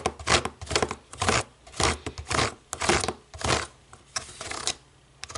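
Long nails tap and scratch the rubber buttons of a small, hollow black plastic DVD remote control resting on a wooden table. Irregular bursts of dry, bright clicking and scraping rise and fade, each with a soft low thud beneath and almost no ring. Quieter ticking fills the gaps toward the end.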